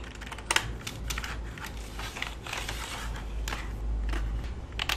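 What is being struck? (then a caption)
Plastic computer keyboard. Fingertips type on the keys of a full-size black plastic keyboard with a hollow body resting on a lap, producing quick, bright plastic clicks and taps. The keystrokes blur into a steady patter with a few sharper hits, over a constant low hum.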